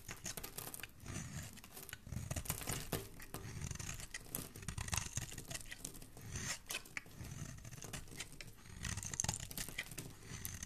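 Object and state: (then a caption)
Bar soap being shaved. A metal craft blade scrapes and shaves curls off the surface of a palm-sized, solid, rounded white soap bar held in the hand. Dense, crisp scraping and crunchy shaving sounds come in quick bursts, with a soft low body and a bright, papery edge. Each stroke dies away almost instantly.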